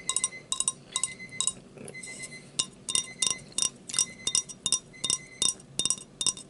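A drinking glass is tapped repeatedly in quick, uneven bursts, often two taps close together. Each tap gives a bright, high clink with a brief glassy ring over a quiet background.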